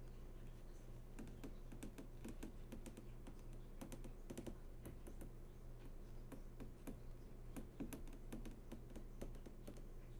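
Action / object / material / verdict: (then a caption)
tap / flat-screen TV panel, glass and plastic / glass / none. Long fingernails tap and trace across the hard, glossy panel of a large flat-screen TV that is switched on. Quick, light clicking taps come in irregular bursts over a steady low hum that runs throughout.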